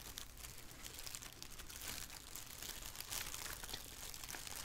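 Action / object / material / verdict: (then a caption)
scrape / thin plastic shower cap / plastic / none. A black thin plastic shower cap, flipped over and held in both hands above a wooden table, is scrunched and crinkled with fingers and long nails. The result is a continuous, bright, dense crinkling at a steady, quiet level, over a faint low hum.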